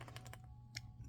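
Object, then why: Miniature plastic gum case. A miniature plastic Bazooka bubble gum case is shaken, and a clump of plastic inside, meant to look like bubble gum, rattles against the case. The result is a few short, dry clicking rattles over a steady low hum.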